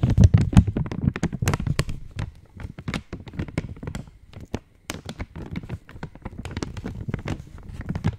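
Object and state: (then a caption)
Foil-lined plastic wrapper. An opened purple Cadbury Dairy Milk chocolate wrapper of foil-lined, metallized plastic is held in both hands and tapped with long nails. The result is a rapid, irregular run of short, dry taps and crinkles, each with a soft low thump and a brief bright crackle that dies away almost at once. The taps are loudest in the first two seconds, then settle into quieter, steady tapping with a brief pause near the middle.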